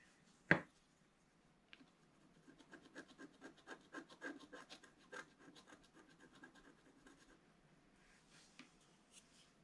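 A wooden stylus tip scratches a flat, black-coated paper scratch-art card around a heart and moon design. A sharp, loud tap opens the clip, followed by a run of soft, rhythmic scratching strokes that swell in the middle and fade out. A faint tick sounds near the end.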